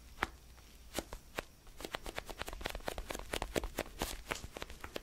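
Fingernails scratch and tap the textured surface of a small orange foam basketball stress ball cupped in the hands. A few sparse, dry taps give way to a quicker run of short, crisp clicks and scratches over a soft low rustle, each hit dying away almost instantly.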